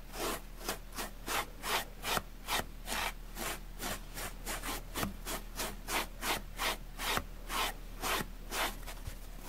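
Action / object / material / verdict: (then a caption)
scrape / porous foam sponge scraped with a plastic bristle brush / foam / none. A grey, porous, dusty foam sponge block, held in one hand, is scraped firmly with a plastic spoolie brush. The result is a rapid, steady series of raspy, bright scratching strokes, about two per second, over a faint low hum.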